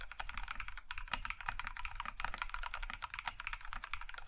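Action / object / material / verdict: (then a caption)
tap / mechanical keyboard with plastic keycaps / plastic / none. Both hands type with their fingertips on an Iron 165 compact mechanical keyboard in a maroon (plum) metal case with cream plastic keycaps. A steady stream of quick, crisp clacks rolls on without pause, each keystroke short and dry with a soft low thump beneath the bright click.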